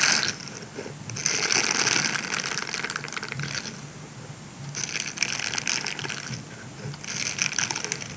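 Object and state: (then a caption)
Silicone scrubber sponge. A grey silicone scrubber sponge is rolled into a tube in both hands while fingertips scratch and rub its bristled surface. The result is dense, bright, scratchy crackling that comes in waves: loud bursts alternate with quieter, softer rubbing. There is very little low end.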